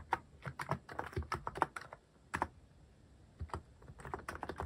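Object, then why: Plastic mechanical keyboard keys. Fingertips type slowly on a cream plastic-cased mechanical keyboard fitted with cat-themed plastic keycaps. About twenty short, dry key clicks sound in uneven bursts, each with a mid-pitched clack over a soft low thud. A brief quiet pause falls in the middle before the typing resumes.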